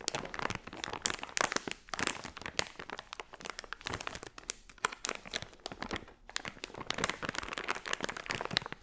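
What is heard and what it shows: A hand-sized, filled blue unicorn blind-bag pouch made of crinkly plastic foil is squeezed and crinkled by fingertips and long nails. The result is a dense, continuous stream of bright, sharp crackles and crunches with almost no low end, rising and falling in short bursts throughout.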